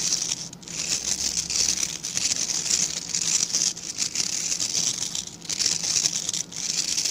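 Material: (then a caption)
Bristle. Fingertips scratch steadily across the tips of a small dark-grey rectangular brush with dense, stiff bristles, held in both hands. The result is a continuous bright, crackling hiss with a few brief dips in loudness and a faint low hum underneath.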